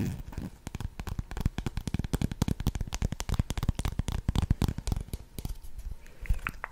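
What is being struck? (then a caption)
Plastic lip gloss tube. Long red nails rapidly tap and scratch along a slim pink translucent plastic lip gloss tube with a metallic cap, filled with gloss and held horizontally in both hands. The result is a dense run of quick, dull, crackly clicks and scrapes, weighted toward the low end with very short ring.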